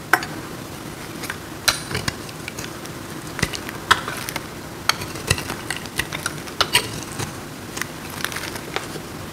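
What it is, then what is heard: Dry soap block, crumbly. A metal knife cuts and scrapes a hand-sized solid block of dry marbled soap, breaking off crumbly pieces. Sharp, bright crunchy clicks and short scrapes pop out irregularly over a steady low hiss, each dying away almost instantly.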